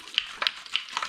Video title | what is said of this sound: How To Spray Drywall Texture from a Can & Get Great Results! | give it a good shaking it's got a marble in there so make sure you shake it till you hear that